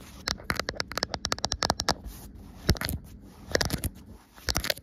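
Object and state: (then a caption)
Fabric cloth being scratched. Fingertips with long nails scratch and drag over a soft green cloth with a white line print, folded and rumpled. Quick, bright, crackly scratches come in rapid clusters, broken by short quieter stretches of soft fabric rustle.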